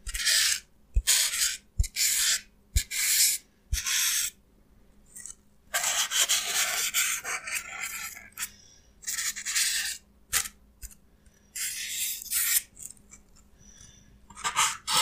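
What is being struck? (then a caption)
Expanded polystyrene block. Fingertips and nails rub and pick at the broken, crumbly edge of a hand-held, light, solid block of white expanded polystyrene (styrofoam). Bright, dry, squeaky scraping comes in short bursts and longer stretches, broken by brief silences and a few sharp clicks.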